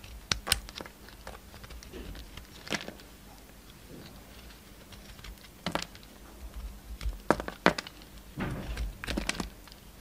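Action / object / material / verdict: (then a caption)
scrape / bar of soap / soap / none. A solid pink-and-blue bar of soap, held in the hand, is carved with a utility knife blade, curling off shavings. Irregular, crisp scraping and snapping cuts come in short bursts, each dying out almost at once, separated by quiet pauses over a faint low hum.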